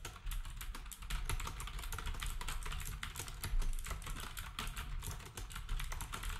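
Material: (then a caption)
Plastic. A black compact plastic typewriter-style keyboard with round plastic keycaps is typed on with fingertips, while the other devices nearby stay untouched. A steady stream of quick, dry key clicks carries a heavy low thump under brighter ticks, and each click dies away fast.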